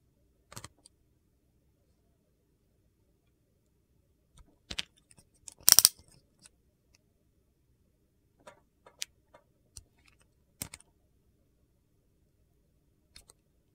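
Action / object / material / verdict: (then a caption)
scrape / glycerin soap bar / glycerin soap / none. A solid oval bar of clear glycerin soap with colored soap cubes inside is held in hand while its outer surface is shaved with a metal utility knife blade. Short, crisp, bright scraping strokes come in scattered bursts separated by silence, with the loudest cluster near the middle. Each stroke is dry and gritty with almost no ring.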